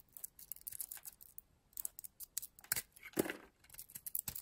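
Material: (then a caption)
Soap. A metal utility blade carves and scrapes a solid purple oval bar of soap with a blue interior, held in the hand. The result is a quiet run of crisp, dry scraping and snipping cuts, with bright high shavings and a few fuller strokes near the end.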